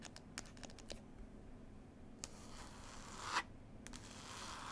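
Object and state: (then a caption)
Cloth-covered hardcover book. Long nails scratch and tap the cover of a solid, closed hardback book bound in green cloth. Quiet, sharp ticking taps come first, then a rough, dry scratching builds and swells into a brief bright rasp before settling back into steady textured scraping over a low, constant background hum.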